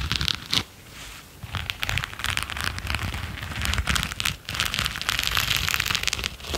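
A pair of grey latex rubber-coated knit work gloves with red knit cuffs, worn on both hands, as the gloved fingers and palms rub and scratch against each other. The result is a dense, bright, crackly rustling and scraping with a low rumble underneath, swelling and fading in short bursts throughout.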